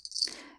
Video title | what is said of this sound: "Snowing Awe" Memory Scrapbook with photos (sold, thank you) | it rings you can hear it